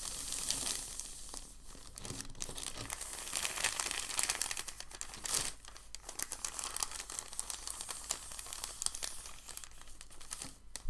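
A large, thin, white crumpled sheet of packing paper is rubbed flat with the palms, then the fingers grip and lift its top edge. The result is a steady, dense crinkling and rustling with bright, crackly detail and short, quickly fading crackles throughout.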